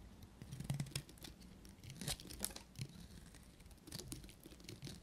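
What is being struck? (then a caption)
Bar of soap scraped with a metal knife. A solid, dry pale green soap bar is carved and scraped with a short metal knife blade, shedding curls of soap. Quiet, dry crisp scraping and crunching with bright, short clicks comes in irregular bursts over a low rumble, with no ring after each cut.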